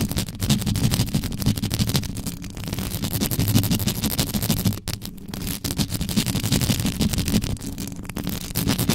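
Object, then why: Metal mesh microphone grille. Long yellow acrylic nail tips scratch and tap rapidly down the side of a black microphone's hollow metal mesh grille, with no windscreen on it. The result is a dense, continuous, irregular scraping and tapping texture with a heavy, boomy low end and a lighter bright hiss. There is a brief drop in loudness just before the fifth second, and then the scratching resumes.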